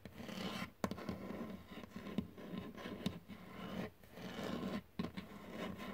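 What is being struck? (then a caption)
Wood-grain desk surface. Fingertips scratch and tap on a flat, solid dark wood-grain desktop, possibly laminate. A steady dry rasping scrape runs throughout, broken by short dips and sharp, quick taps that die away almost instantly. The sound is close and fairly quiet, with a low, dull body.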